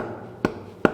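Two short, dull knocks on a spot of a WW2 bunker floor, tested as the solid reference beside a hollow wooden board. Each knock is a brief thud centered around 350 Hz that dies away almost at once. The spot sounds solid.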